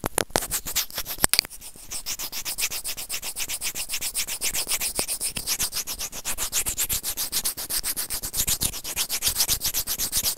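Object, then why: Small plastic earphone inline mic remote. Serrated plastic tweezers scrape a small, hollow, white plastic inline microphone remote on an earphone cable. The result is a fast, steady run of bright, hissy scraping strokes, about four per second, after a few sharp clicks near the start.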